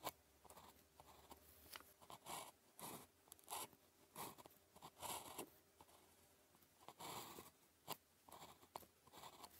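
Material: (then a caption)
Paper. A blue plastic ballpoint pen tip, held in the fingers, writes on a thin grid-printed paper calligraphy practice sheet lying flat on a desk. The result is a series of short, dry, scratchy strokes with bright, papery edges, separated by quiet pauses.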